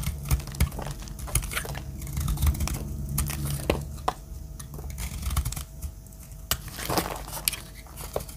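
A metal utility-knife blade scrapes and cuts dry flakes off a green solid bar of soap held in a hand with long black nails. Dry, crinkly scraping runs throughout over a low rumble, broken by many sharp, bright clicks and crackles as flakes shave away.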